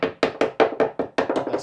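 A screwdriver taps along a run of fibreglass bonding on plywood on the port side of a GRP boat, giving a quick series of short, hollow, mid-pitched knocks with almost no low end and very little ring. The dull, hollow sound shows the bonding has detached and come loose all along.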